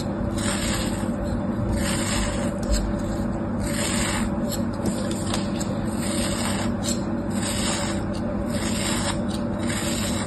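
A thin metal knife blade slices and scrapes layers from a hand-sized, solid molded shape of beige kinetic sand held in the palm over a tray of sand. A steady, gritty scraping and rasping runs throughout, with recurring brighter, hissy swells as the blade cuts through. A constant low hum sits beneath it.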